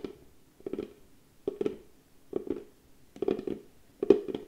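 A small, hollow, cylindrical box of pale wood is held in both hands while long painted nails and fingertips tap and scratch its flat lid. Slow clusters of dry, hollow wooden clicks and short scratches come in five separate bursts. Each burst has a warm mid-range body around 400 Hz and dies away almost at once.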